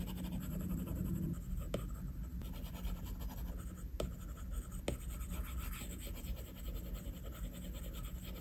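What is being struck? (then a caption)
Plastic stylus tip on a glass tablet screen. A plastic stylus tip scratches shading strokes across a flat glass iPad screen in a steady, soft scratching hiss over a low, dull rumble. A few sharp taps stand out as the tip strikes the glass.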